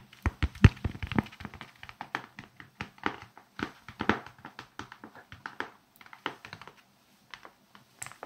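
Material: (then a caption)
Plastic. A small red plastic block with a grid of raised bumps, held in both hands, is tapped and scratched with fingernails across its bumpy surface. Dozens of quick, dry taps and soft thunks follow in an irregular rhythm, mostly low and dull with almost no ring, and they thin out toward the end.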